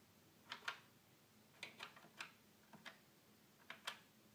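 A fingertip taps and presses the small plastic buttons on the top panel of a hollow red plastic toy keyboard. Quiet, sharp clicks with a bright, hollow plastic tone come mostly in quick pairs, with short pauses between them. Each click dies away almost at once.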